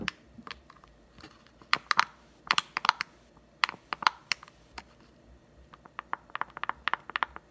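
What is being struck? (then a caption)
Thin clear plastic blister over a card. Fingertips tap and scratch a clear plastic blister bubble over a green Nite-Glo Putty egg on a cardboard card. Quick, dry, bright plastic clicks come in irregular bursts and clusters, each dying away almost instantly, with faint scratchy rustling between taps.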